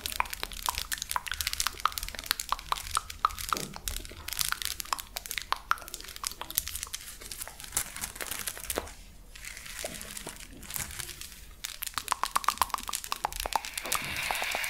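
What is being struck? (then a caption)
Plastic lattice fidget toy. A hollow, flexible purple plastic lattice fidget toy is squeezed and scratched with long nails, then held near the ear. Many rapid, sharp crackling clicks and scratchy crinkles follow one another. There is a brief quieter stretch near the middle before the bright, dense clicking picks up again.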